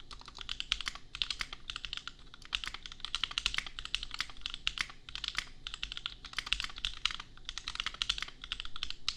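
Fast fingertip typing on a $250 custom compact mechanical keyboard with Gateron Milky Yellow switches and red and pink plastic keycaps. It produces a steady stream of crisp, bright plastic clacks centered around 2.8 kHz, with a light low thump beneath them. Each keystroke is short and dry, and the bursts come in quick runs separated by brief pauses.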